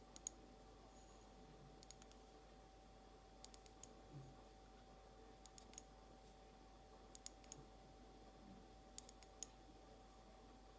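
Long almond-shaped nails tap a small, empty, hollow, blue glazed ceramic egg cup. Sparse clusters of quiet, sharp, high clicks with almost no ring are spread across the clip, over a faint steady hum and low background noise.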